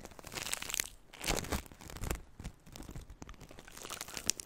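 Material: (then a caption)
Foam beads. A handful of green crunchy floam, polystyrene foam beads mixed into slime, is held in both hands near the microphone and squeezed and crunched with fingertips and long nails. It makes dense, bright crackling and popping crunches that swell into louder squishy bursts and fade between squeezes.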